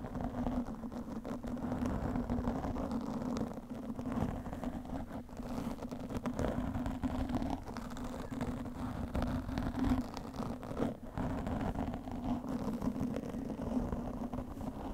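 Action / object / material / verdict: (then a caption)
scrape / foam microphone windscreen / foam / none. Long manicured nails of both hands scratch a medium-size black foam windscreen, soft porous foam over the hollow head of a studio microphone. The result is a continuous, dense, muffled scratching and rustling with a steady low, boomy hum-like tone underneath, swelling and dipping slightly throughout.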